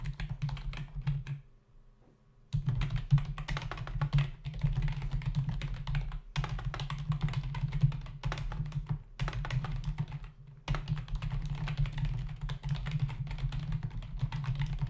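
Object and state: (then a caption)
Plastic computer keyboard. Both hands tap the plastic keys of a black plastic membrane computer keyboard, with its hollow body, resting on a desk. Rapid, dense bursts of clattering fingertip keystrokes are broken by brief pauses, the longest near the start. A steady low hum runs underneath throughout.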